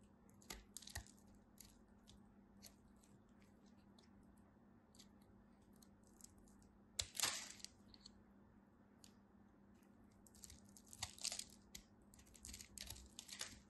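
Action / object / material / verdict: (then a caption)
scrape / bar of soap cut with a knife / soap / none. A knife carves into a solid beige bar of soap, breaking off cubes with sparse, crisp, bright clicks and scrapes over a faint steady low hum. A louder crunching cut comes around the seven-second mark, followed by a denser cluster of sharp crackles near the end.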